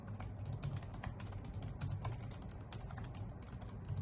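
Long nails on both hands type rapidly on a full-size white plastic computer keyboard resting on a wooden desk. The result is a dense, steady stream of bright, crisp key clicks over a low, constant hum.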